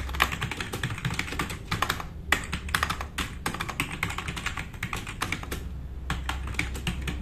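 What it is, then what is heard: Plastic mechanical keyboard. Fast typing with the fingertips of both hands on a black RGB-backlit tenkeyless plastic mechanical keyboard with plastic keycaps, resting on a wooden desk. Rapid, uneven clicks and clacks of keys pile into a continuous bright patter with short dry decays, over a steady low hum.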